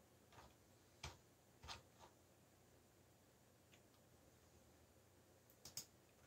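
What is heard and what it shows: Fingertips tap the keys of a backlit black plastic mechanical keyboard while typing, producing six short, bright clicks spaced irregularly. The clicks cluster in the first two seconds and again near the end, with a long quiet stretch of faint low hiss between them.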